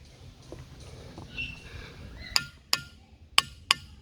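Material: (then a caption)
Rock. A hammer strikes a boulder four times, each hit a sharp, bright click that dies away almost at once with little ring. The boulder proves dull and non-ringing and is passed over, after a quiet stretch of faint outdoor background.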